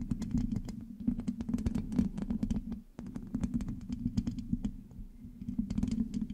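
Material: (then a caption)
Metal mesh. Long manicured nails scratch and tap the rounded metal mesh grille of a black USB condenser microphone with a hollow head, using both hands. It makes a dense run of quick, crisp clicks and scratchy rasps over a steady low, boomy hum, with a brief drop in sound near the middle before the tapping resumes.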